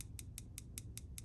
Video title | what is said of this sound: Vero mini axon cf liner lock review / I love it | zirconium is such a hard freaking material that it's not the most annoying tapper